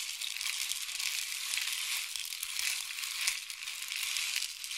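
A long, hollow, painted wooden or bamboo rain stick is held near the ear and tilted, sending pellets trickling inside it. The result is a steady, bright, hissing patter that carries almost no low end and swells and eases slightly over the few seconds.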